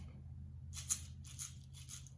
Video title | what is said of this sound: Oviparous Animals | Kind of like my maraca.